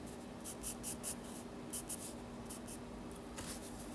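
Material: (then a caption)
Paper. A yellow pencil scratches lines across the torso of a drawing on the white paper page of a spiral sketchbook. Quiet, bright, hissy pencil strokes come in short bursts with brief pauses between them, over a faint steady low hum.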